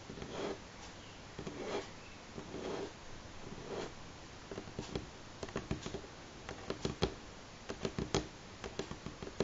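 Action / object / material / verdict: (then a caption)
tap / pine wooden tabletop / wood / none. Fingernails on both hands tap a solid light pine tabletop. The first few seconds bring soft, breathy swells centered near 400 Hz. These give way to quick, irregular, sharp clicks with a bright edge that die away almost instantly.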